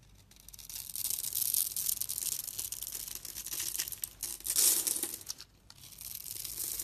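A solid rectangular pink soap bar, held in a hand with long red nails, is scored in a grid with a utility knife blade and small cubes are scraped off. The result is a continuous bright, crisp scraping and crumbling hiss with no low end. It swells into a louder burst before a brief pause, then resumes.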